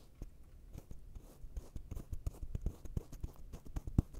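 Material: Kinetic sand.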